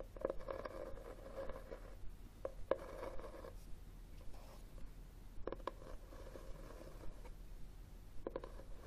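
Fingernails scratch and tap the textured front cover of a red cloth-covered hardcover book held upright. The result is a quiet, dull, mid-pitched rasping scratch broken by soft, short taps that stand out here and there, with almost no bright or high content.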